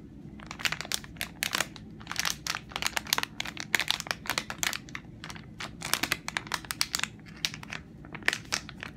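Long nails tap and scratch across the film surface of a full, hand-sized soft plastic pack of Simple facial wipes held up in the hand. A rapid, irregular run of bright, crinkly clicks and scratchy rustles rises over a low steady background. Each sharp tap dies away almost at once.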